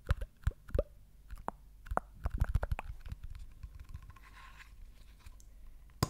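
Fingernails tap and scratch the label and cap of a small green and white plastic chewing gum jar with a lid, likely full. A run of short, dry, hollow taps clusters in the first three seconds, followed by quieter, softer scratching. A single sharp tap lands at the very end.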